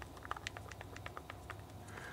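A Permobil "Slim" swing-away retractable joystick mount is wiggled by hand. It gives off a quick series of light, sharp clicks and rattles with a steady low hum underneath. The rattle shows a little play because the whole mechanism moves, not just a loose screw.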